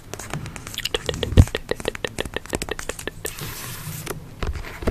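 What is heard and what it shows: A rapid run of short, dry ticks with no ring, then a brief papery scratching rasp and a few more taps. The card cover and packed pages damp every hit, so nothing sustains. A small room is faintly audible.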